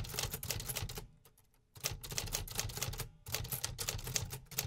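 A 1950s Remington Quiet-Riter, a large hollow metal-bodied desktop typewriter with paper loaded, is typed on with fingertips in steady real typing. Rapid, bright mechanical key and typebar strikes clatter in dense bursts over a low body thump, broken by a short pause and a second brief lull.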